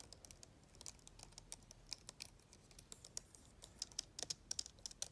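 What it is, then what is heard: Plastic laptop keyboard being typed on. Long-nailed fingers type on the black plastic keyboard of an open laptop. It produces a quick, uneven run of soft, sharp clicks that are bright and thin with almost no low end. Each click stops dead with no ring.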